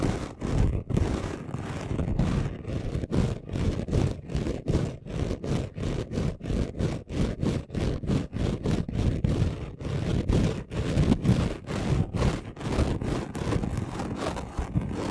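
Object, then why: Chunky glitter craft sheet. Short nails rapidly scratch and rub the textured surface of a flat chunky gold glitter craft sheet. The result is a steady run of quick, dull, gritty strokes, mostly low in tone with very little bright edge.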